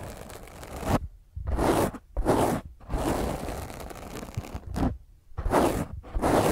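Long fingernails scratch a black foam microphone windscreen held in the other hand. Harsh, broadband scratching comes in uneven bursts, each separated by a brief near-silent gap. The rough rasping stays close and full, with strong low rumble under bright hiss.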